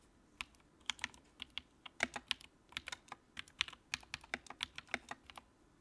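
Fingertips type on the keycaps of a compact white plastic mechanical keyboard with a backlight, producing 26 quick, irregularly spaced keystrokes over about six seconds. Each press is a sharp, bright click with almost no low end that dies away instantly, some landing louder than others.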